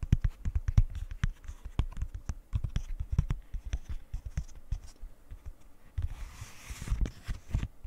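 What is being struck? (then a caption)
Silicone pop-it fidget toy. A rainbow silicone pop-it fidget toy, held close to the mic, has its edges and bubbles tapped and scratched with long nails. Quick, soft, dull taps with short decay come in a steady patter, and a brief, brighter scratchy rustle rises near the end.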